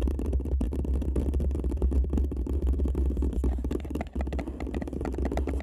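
Long nails scratch and tap up and down the sides of an empty paper cup turned over a microphone. The result is a dense, continuous stream of muffled scraping and soft knocks, dominated by a deep low boom, with brief dips in the texture near the end.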